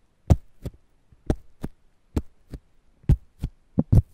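A fingertip and nail scratch and tap the green husk of a whole fresh corn ear held between foam microphones. Ten short, dull, low thumps arrive in loose pairs, like a slow heartbeat, with brief bright scratchy edges and no ring.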